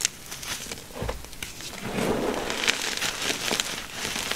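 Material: Gym chalk.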